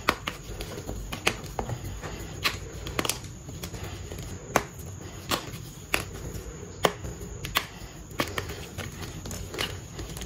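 A palm-sized pink dyed gym chalk block, solid and brittle, is crushed and crumbled between fingertips and palms into chunks and powder over a tray. Sharp, dry cracks snap out at irregular intervals over a steady low, gritty crumbling rustle with a bright, fine hiss.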